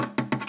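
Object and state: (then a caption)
Plastic speaker horn. An injection-molded plastic horn, pulled out of a QSC KW 122/152 loudspeaker, is tapped three times. Each tap gives a short, hollow plastic knock with a low-mid tone around 240 Hz that dies away quickly.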